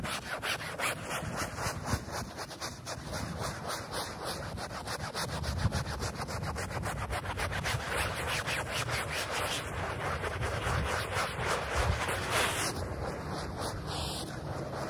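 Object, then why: Wet polyester rug scrubbed with a plastic bristle brush. A small handheld plastic bristle brush scrubs back and forth across a flat, thin, wet, rectangular printed polyester rug with a space print, dirty with mud and covered in soap foam. Quick, steady strokes of about three to four per second make a continuous wet, hissy scrubbing rasp with a soft low rumble underneath, holding an even level throughout.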